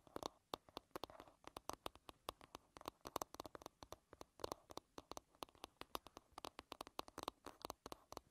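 Long red-painted nails tap and scratch the smooth, curved wooden back of a solid light-wood paddle hairbrush lying bristles-down. Some 47 quick, dry, quiet clicks come in a fast, uneven patter, each centered around 1 kHz with almost no ring.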